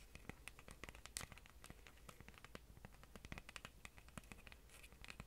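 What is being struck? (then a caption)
Wooden picture frame. Long orange fingernails tap and scratch along the wooden sides of a rustic wooden picture frame held up in the air. The result is a quiet, rapid string of dry, sharp clicks and scrapes with bright edges, each dying away almost at once, over a faint, steady low hum.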